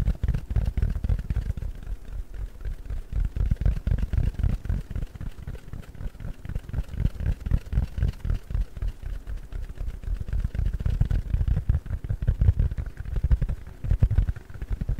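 Fingers scratch and squeeze a round, palm-sized yellow porous foam sponge. The result is a steady stream of rapid, irregular, muffled low thumps and crackles lasting the whole clip, with almost all the sound deep in the bass and nothing bright. Each sound is short and dry with no ring.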